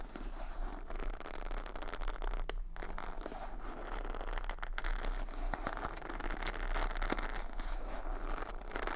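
Long nails run along and flick the bristle pins of a wooden paddle hair brush, decorated with beads and rhinestones, held close to the microphone. The result is a steady, dense stream of crisp crackling, ticking, and scratching over a low rumble, with a few sharper snaps standing out.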